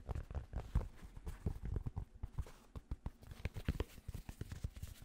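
Rapid fingertip taps on the hollow crown of a grey cotton Penn State baseball cap. They make a quick, irregular run of soft, dull, low thumps that stop dead with no ring.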